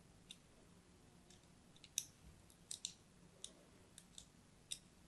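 A thin blade scores a crosshatch pattern into a solid pink-and-white striped bar of soap held in the hand. Nine quiet, crisp, bright clicks ring out at uneven intervals, each dying away almost instantly over a faint low hum.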